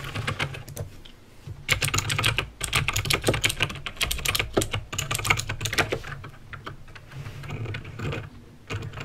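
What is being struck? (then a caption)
Plastic mechanical keyboard. Fingertips type on a backlit mechanical keyboard with plastic keycaps and clicky green switches. Rapid, sharp, bright clicks come in uneven bursts with short pauses between them over a steady low hum. Each click stops almost at once.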